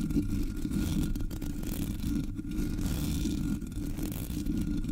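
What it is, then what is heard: Metal mesh microphone grille being scratched. Long nails scratch the top of the black hollow metal mesh grille on a Blue Yeti microphone. The result is a steady, dense scraping rumble, heavy in the low end, with faint high hiss above it.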